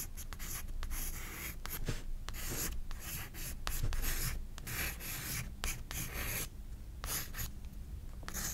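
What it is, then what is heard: Pencil shading on a paper sketchbook page. A pencil rubs and scratches across a page of a spiral-bound paper sketchbook while shading hair. The sound is a steady run of dry, bright scratchy strokes over a low background rumble, with quick short gaps between bursts of shading.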